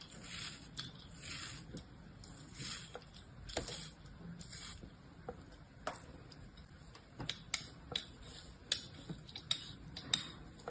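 A small metal blade cuts crosshatch patterns into a solid block of beige kinetic sand resting on a palm, then scrapes across it. Soft, bright, grainy swishes of the blade dragging through the sand give way to sharper, crisp crunches and clicks as it slices through. The sounds are quiet and close, with little low end.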